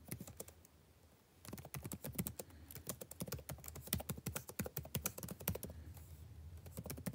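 Fingertips tap quickly on the plastic chiclet keys of a backlit laptop keyboard, producing a fast, steady stream of short, crisp clicks with bright tops and a soft low thump under each press. The typing briefly pauses about a second in, then resumes in a dense, uneven patter that continues to the end.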